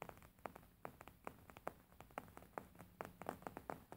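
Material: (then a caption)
Linen. Fingernails tap and scratch the top surface of a beige, embroidered linen pillow with stitched fabric. The result is a quiet, irregular series of short, dry, soft taps with a muted midrange thump, separated by faint scratchy rustling over a low steady hum.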